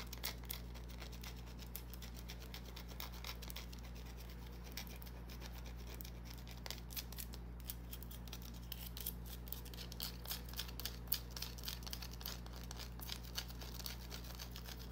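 Long nails scratch the already-scratched surface of a small, solid green bar of soap held in the hand. The result is a stream of quick, crisp, irregular scratching clicks, about four per second, over a steady low hum.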